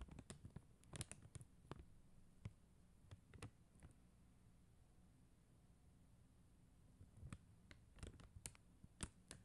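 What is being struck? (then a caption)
Plastic gem sticker sheet. Long acrylic nails tap and scratch across a flat plastic rhinestone sticker sheet of faceted plastic gem stickers. Quiet, sharp, dry clicks and taps come in clusters near the start and end, over a low steady hum. The middle stretch holds only faint scratching.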